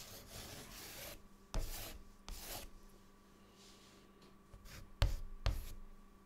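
A hand scribbles and writes with a white chalk stick on a large, flat, solid dark chalkboard. A long, bright scratching stroke opens the clip, followed by shorter rasping strokes and four sharp taps of the chalk against the board, with quiet gaps between them.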